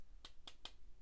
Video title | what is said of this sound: Model Kits- Let’s Discuss | that's Hollow this is hollow plastic right here